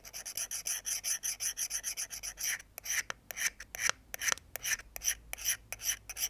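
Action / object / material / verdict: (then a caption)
scrape / steel folding knife blade scratched with a metal pick / steel / none. A thin metal pick repeatedly scratches along the edge and serrations of a small folding pocket knife's open, solid steel blade, held over a wooden board. Bright, rasping scrapes come in a quick, steady run at first, then turn into sparser, irregular strokes with short silent gaps. There is almost no low-end sound.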